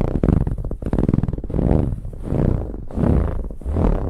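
Long nails of both hands scratch a large, soft, dark brown pillow with a ribbed, textured fabric cover. The result is a muffled, low, rumbling scratch made of rapid ridged pulses, swelling in and out in uneven strokes with almost no high end.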